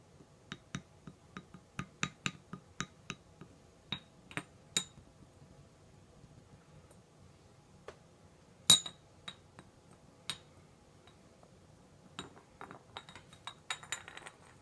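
A hollow, round, dark blue ceramic whisky flagon standing on a red table is tapped on its body and neck with a small green tool held in the fingers. It gives bright, short clinks with a high ringing tone, scattered irregularly and quickly damped, with one louder tap near the middle and a faster flurry of taps at the end.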